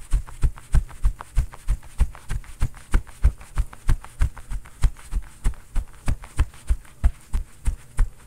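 A bare fist rapidly pounds a soft, stuffed, quilted cotton oven mitt with a floral print worn on the other hand, giving about 42 dull, deep thumps at roughly three per second. Each thump is short with almost no ring, and the sound sits almost entirely in the low range with a slightly uneven rhythm.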